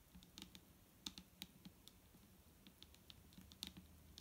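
Both hands tap fast with long nails on a large, clear plastic micellar water bottle that is full of liquid and lying flat. The result is a quiet, irregular patter of crisp, bright clicks that stop dead with no ring, over a soft low rumble.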